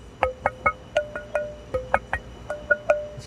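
A private-stock block of East Coast tonewood, the wood Les Pauls are made of, is tapped 12 times at the PRS factory, giving short bell-like, chime-like rings around 600 Hz with bright overtones. It rings best when held at the one-quarter point; held at the end, it does not ring.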